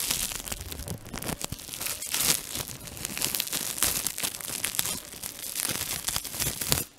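A thin, transparent, flexible plastic foil sheet is crumpled, pinched and twisted in both hands with fingertips and short nails. The result is a continuous bright crinkling and crackling that runs throughout, dropping off abruptly at the very end.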